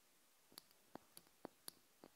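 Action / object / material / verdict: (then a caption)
tap / small glass jar filled with wax / glass / none. A small open glass jar candle filled with wax is held in the hands and tapped with long nails. Six short, quiet clicking taps are heard with bright, glassy tops, each dying away almost instantly, with faint lighter ticks between them.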